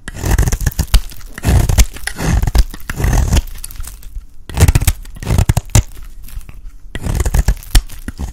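A solid blue rectangular bar of dry soap is held in hand while a metal blade scrapes its edge into chunky flakes. Low, crunchy scraping and crumbling comes in several bursts separated by brief quieter gaps, with many short crackling bits throughout.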